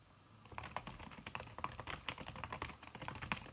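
Fast typing with fingertips and long red nails on a backlit aluminium laptop keyboard fitted with a red silicone key cover. After about half a second of near silence, a rapid run of soft, muffled taps follows, each with a short dull click and very little ring.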